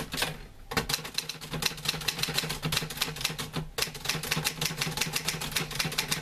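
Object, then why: Metal manual typewriter. Fingertips type on the keys of a green-grey metal portable manual typewriter with paper loaded, and a hand pushes the carriage return. A rapid stream of sharp, bright, dry clacks follows with brief pauses between bursts, over a faint low hum.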